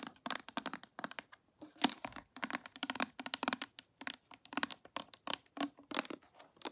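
A small clear glass perfume spray bottle, partly filled with liquid, with a pink and silver cap and a red label, is held in the hands and tapped and scratched with long manicured nails. A rapid, uneven series of sharp, bright clicks and brief scratchy rasps is heard, each dying away almost at once. The taps carry a faint low body around 266 Hz and almost no deep bass.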